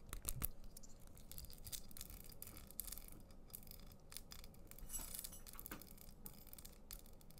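A small hollow handheld pen with a white plastic body and a crinkly, iridescent, zigzag-folded plastic foil barrel is held in both hands and twisted and squeezed with the fingertips. It gives a steady stream of quiet, bright crinkling and crackling over a low background rumble, with a few louder bursts near the start and middle.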